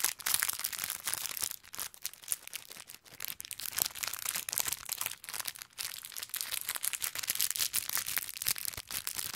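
Fingertips squeeze and crinkle a small clear plastic bag full of orange konpeito sugar candies, tied with a green ribbon. The result is a dense, bright crackling rustle with rapid sharp crinkles and tiny candy clicks. It swells and fades in irregular bursts, with almost no low end.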